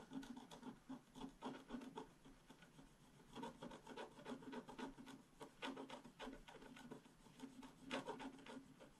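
A small stylus held in the fingers scratches the coating of a flat, black-coated scratch-art card in a book, the solid sheet lying on a table. Quiet, irregular bursts of dry rasping and rubbing strokes are heard, each with a low hum near 270 Hz and a thin, bright scratchy edge, and the strokes stop sharply with almost no ring.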